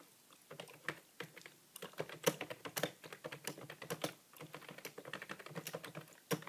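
Fingertips tap the plastic keys of a hollow grey plastic computer keyboard in steady typing. Quick, dry clicks with a low thump and short bright edges come in bursts with brief pauses, and each keystroke dies away almost at once.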